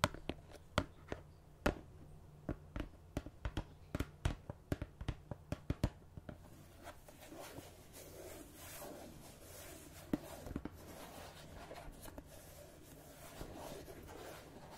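Long red-painted nails tap the printed lid of a hand-sized, rectangular red and cream plastic margarine tub, likely full, producing a quick series of sharp, dry clicks over a low steady hum. After about six seconds, the tapping turns into a continuous soft scratching and rustling across the lid, with a few more isolated taps.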